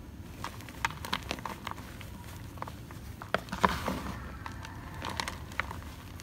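Bare fingertips and hands squeeze, crumble and rub a large pile of pinkish-white crushed gym chalk (magnesium carbonate powder) from two blocks, made of dry solid crumbs and powder. Soft, irregular crackles and crisp little snaps sound over a faint low hiss, with the loudest crunches around the middle of the clip. The short, bright clicks die away almost instantly.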